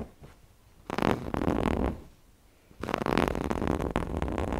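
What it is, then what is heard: Cotton fabric cushion being scratched. Fingertips scratch and rub across the front of a large, soft stuffed cushion shaped like an owl, made of red polka-dot and floral cotton fabric with appliqué eyes. Two bursts of dense, rough, fibrous scratching are heard, separated by a quiet pause, with the second burst running to the end.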